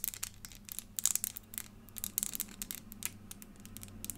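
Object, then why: Small clear plastic puzzle figure. Long nails tap and scratch a small, hollow-ish clear plastic crystal elephant puzzle made of many pieces, giving a quick, uneven run of bright, crisp clicks and scraping ticks. Each click stops almost at once, over a faint, steady low hum.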